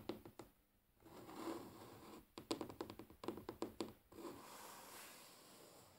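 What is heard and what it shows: Natural fingernails of both hands tap and scratch a large solid wooden tabletop up close. A few sharp knocks give way to a soft scraping rustle, then a quick run of crisp, short taps with a woody mid-range tone, followed by more steady scratching across the surface.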